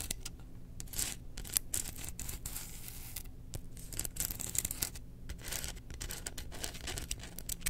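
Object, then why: Bamboo slotted spoon. Long nails scratch quickly along the engraved handle of a held bamboo slotted spoon. The sound is a run of short, dry, bright scratching strokes over a steady low hum.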